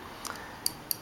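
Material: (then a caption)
Steel. Tapping the metal pocket clip on a Ganzo G732 folding knife makes three short, bright clicks with no ring-out. The clip clicks against the G10 handle because of a gap where it contacts the handle, which leaves it with weak retention that can be fixed by bending the clip inward.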